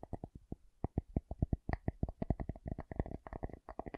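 A wooden object is tapped in a quick, uneven series of about 26 short, dry taps over four seconds. Each tap is a brief, low, hollow-sounding knock that stops at once with no ring.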